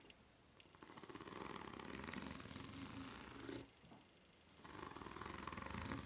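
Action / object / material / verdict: scrape / ridged rubber flip-flop sole / rubber / none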